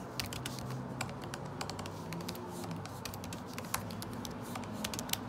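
Fingertips type continuously on a MacBook Pro butterfly keyboard with plastic keycaps set in an aluminum body. The result is a quick stream of short, bright clicks and taps over a steady low hum, with a few taps standing out sharper than the rest.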